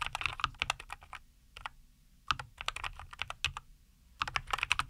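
Both hands type with their fingertips on a compact 75% NuPhy Air75 V2 mechanical keyboard with a white case, green and white plastic keycaps, and linear Cowberry switches, resting on a wooden desk. Quick runs of crisp, bright clacks come in three bursts separated by short pauses. Each keystroke is sharp and dies away almost instantly.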